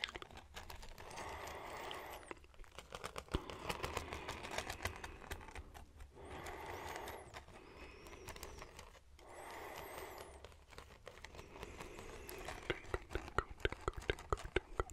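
Fingertips scratch and flick along the ribs of a red wooden folding hand fan held open near the microphone. The sound comes in three swelling, dry scraping passes. It ends in a dense run of sharp, quick clicks over a low, steady rumble.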